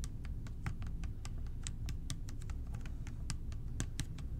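Fingertips tap rapidly and lightly on the body of a clear plastic bottle partly full of purple liquid with a blue cap. The result is a steady patter of short, dry clicks with bright ticks over a constant low rumble.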